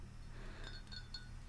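A white ceramic coffee cup, made into a Central Perk cup with a printed paper logo taped onto it, is tapped lightly. It gives soft, clear glassy clinks ringing high over a steady low hum.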